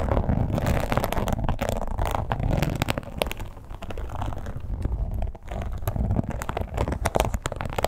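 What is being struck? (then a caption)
Textured leather wallet. A red croc-embossed leather wallet lies flat and is scratched quickly with long pointed acrylic nails. The result is a continuous, dense, low-heavy rustling texture with fine scratchy grit, brief clicks, and a short dip in level near the middle.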